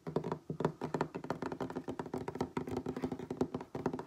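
Fingertips and nails of both hands tap fast, pattering rhythms on a solid wooden tabletop. Each tap is short and dry with almost no ring, giving a warm, knocking tone centered around 250 Hz, with faint bright clicks from the nails.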